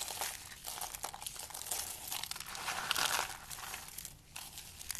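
A bare hand crushes and squeezes handfuls from a pile of dry beige-cream soap shavings. The result is a steady, bright, crinkly crunching with dense crackles and almost no low end. It swells loudest around the three-second mark and briefly quiets near the end.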